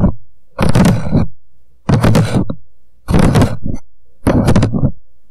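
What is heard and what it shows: An empty paper coffee cup turned upside down on a microphone is tapped fast with the fingertips of both hands on its hollow walls. It gives repeated bursts of muffled, hollow thumps that are heavy in the low end, with short pauses between them.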